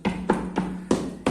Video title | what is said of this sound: Tiling San Miguel Village One & Two | this one is definitely loose